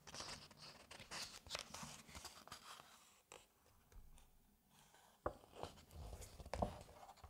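Fingertips flip and turn the thin glossy paper pages of a large hardcover space book at the lower corner. Soft, crisp rustling and papery swishes come in quick bursts, with a quieter pause in the middle. A few sharper snaps land as pages fall over near the end.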